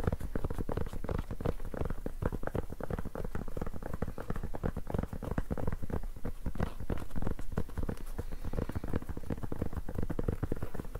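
Fingertips scratch and tap along the rolled cloth surface of a black, rubber-backed fabric mousepad held up in both hands. The result is a steady, dense patter of soft, dull scratches and taps, heavy in low frequencies with no ring, holding an even level throughout.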